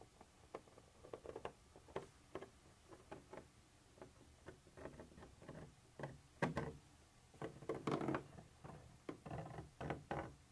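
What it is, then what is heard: Textured plastic surface. A black pointed pointer tool taps and scratches a white textured plastic surface with a molded ridge, apparently the wall of a hollow container. Short, dry ticking taps and brief scratchy strokes come at an irregular pace, some quiet and some sharper, with little ring after each.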